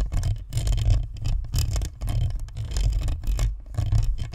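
A white spherical Blue Snowball USB microphone, with a plastic shell and a metal mesh front grille, is held in both hands while long nails scratch across the grille and the shell. Close, bursty scratching comes through as a heavy low rumble with bright, gritty brushing on top. The strokes rise and fall in repeated bursts.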